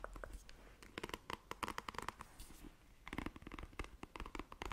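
Long nails scratch across the bristles of a black plastic paddle hairbrush. The result is quick, dry, raspy strokes with a faint ringing tone around 1 kHz. Quiet pauses fall between bursts of scratching.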